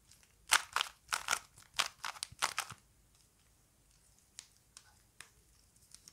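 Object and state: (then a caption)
Plastic Rubik's cube being twisted. Fingers twist the layers of a small plastic Rubik's cube held in both hands, producing a quick run of snappy, bright plastic clicks and crunchy turns in the first few seconds. After a pause, a few fainter, isolated clicks follow as the twisting slows.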